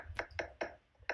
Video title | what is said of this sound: Master Class for Home Inspectors: Step 7, Tips for Inspecting Stucco | It sounds kind of hollow. If it sounds hollow, that's a clue you may have an EIFS system.